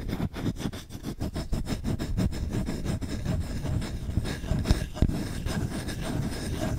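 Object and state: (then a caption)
Wooden spoon being scratched. Fingertips scratch fast and aggressively across a solid wooden spoon, first over the bowl and then along the handle. The result is a dense, rapid run of dry, rough scraping strokes, distinct at first and then blurring into a steady rasp, with a muffled, low-heavy body and almost no ring.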